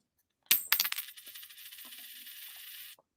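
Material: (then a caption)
Silver. A 90% silver dime with no copper visible on its edge is dropped onto a hard surface and bounces with four sharp, bright clinks. A thin, high-pitched metallic ring lingers for about two seconds before cutting off.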